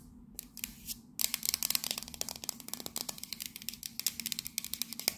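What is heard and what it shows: Long nails tap and scratch the side of a tall, hollow, cylindrical printed metal Fortnum & Mason coffee canister with a red scale pattern. After a quieter first second with a few soft scrapes, a rapid stream of sharp, bright clicks and scratches follows, each dying away almost instantly with little low-end body.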